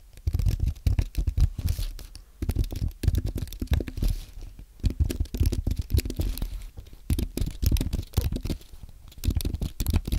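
Fingertips type on a compact white aluminium and plastic Apple keyboard. Bursts of soft, muffled key taps come in quick runs with short pauses between them. Each press is a dull, low thud that dies away almost instantly, with little brightness.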